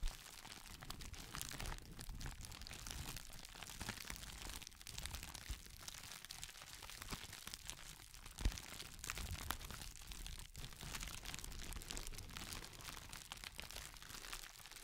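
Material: Plastic.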